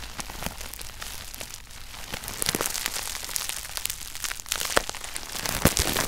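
Fingers press and pop crumpled clear plastic bubble wrap resting on a red shoebox. A steady bright crinkling runs throughout, broken by many sharp, short snaps that grow louder and more frequent toward the end.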